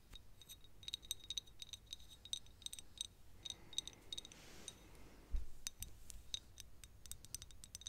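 Long nails tap a small, thick glass perfume bottle with a clear cap, partly full of yellow liquid, making quick, bright glassy clicks with short high ringing tones. Midway the tapping gives way to a soft, hissy rustle, then a louder dull bump before the light clicking resumes over a quiet low background.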